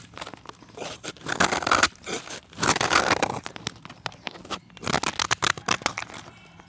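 A solid, round, white pressed chalk disc, palm-sized and held in the fingers, is shaved with a steel box-cutter blade, its flakes falling into a dark pan. Bursts of dry, gritty scraping and crunching strokes come in uneven clusters with brief quieter gaps, bright and crisp with little low end.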